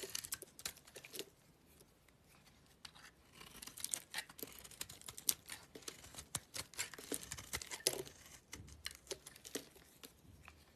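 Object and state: Bar of soap being carved.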